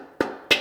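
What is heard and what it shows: A 350 transmission clutch piston is tapped down into its aluminum case with a long pry bar, working slowly back and forth. Two short, bright taps ring briefly. The sound shows the piston is not yet fully seated in the case.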